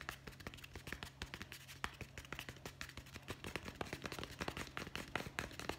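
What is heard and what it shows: A solid hardcover guest book with a board cover is held upright, shown back then front, and tapped fast with the fingertips on the cover and spine edge. The result is a rapid, uneven stream of short, dry taps with a bright click and almost no ring, over a quiet, steady low hum.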